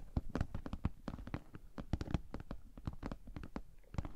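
Long painted nails tap and scratch across the top and sides of a pink glossy PVC Ted Baker cosmetic bag with a bow, medium-sized and hollow, resting on a table. About two dozen quick, soft taps sound as dull, low thuds with no ring, mixed with light scratching between them.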